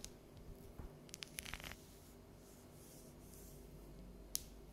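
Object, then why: Dark chocolate bar. Long yellow nails tap and scratch the ridged squares of an unwrapped, solid bar of dark chocolate held upright and tilted. A cluster of quick, dry, bright clicks and short scratches comes in the first two seconds, followed by quiet low background hiss and one last sharp tap near the end.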